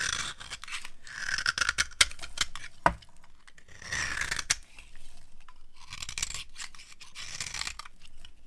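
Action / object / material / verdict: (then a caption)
scrape / bar of soap scraped with a blade / soap / none. A metal blade scrapes along a dry, solid white cream soap bar held in the hand, shaving off fine crunchy flakes. Dry, bright scraping strokes come in bursts with sharp crackly snaps between them, leaving fine crunchy shavings.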